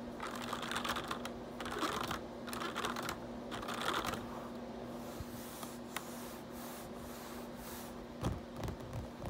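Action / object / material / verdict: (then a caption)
tap / plastic computer keyboard / plastic / none. Fingertips type in quick bursts of clicky, plasticky keystrokes on a black plastic RGB backlit computer keyboard, over a faint steady low hum. The hands then rest lightly on the keys, leaving quieter taps and a few soft thumps near the end.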